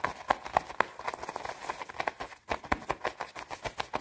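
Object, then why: Padded nylon jacket. Long red nails scratch fast and tap on the padded shoulder and chest of a white quilted nylon down jacket. A rapid, steady run of short, crisp taps and scratchy swishes sits mostly around 1 kHz, with a faint high hiss and almost no low end. Each tap is dry and stops at once.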